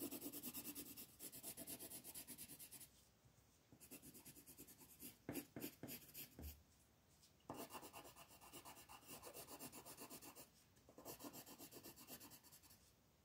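A black colored pencil is rubbed over a flat paper coloring page in fast scribbling strokes, producing a dry, bright raspy scratching. The scribbling comes in several bursts of rapid back-and-forth strokes separated by brief quieter pauses.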